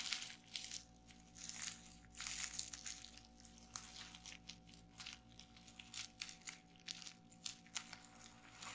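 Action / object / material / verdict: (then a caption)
tap / plastic bubble wrap sheet / plastic / none. Fingertips with long painted nails press and pop the bubbles on a flat sheet of clear plastic bubble wrap lying on a table. Quiet, bright crinkling and crackling is broken by sharp little pops that die away almost instantly. A faint steady hum sits underneath.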